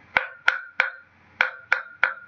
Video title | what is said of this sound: Telinga XI IPA 3 JAM 11 | Pukulan pertama suaranya lebih keras. Suaranya nyaring pukulan pertama.